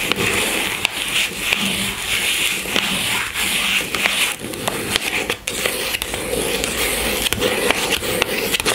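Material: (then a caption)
Cardboard. Long fingernails tap and scratch on top of a small pink cardboard box holding a bar of soap on a table. A steady, bright, papery scratching runs throughout, broken by sharp, dry taps that die away almost at once.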